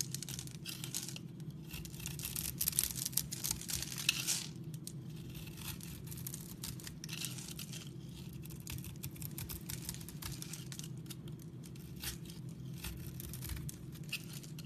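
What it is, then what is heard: Soap bar cut and crumbled. A utility knife blade scrapes across a solid, palm-sized, oval light-green bar of soap with a scored grid cut into its surface, and small soap cubes crumble off under the blade and fingertips. Dry, crisp scraping and crumbling crackles fill the clip in bright, dense bursts, loudest in the first four seconds. A steady low hum sits underneath throughout.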